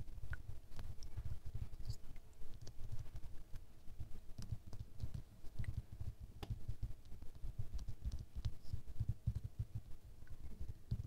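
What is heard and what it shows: Fingernails tap the sides and faces of a small square glass perfume bottle, full of amber liquid and held in the palm. The result is a steady patter of short, dull taps with a low body around 110 Hz, each dying away almost instantly, with faint bright clicks scattered between them.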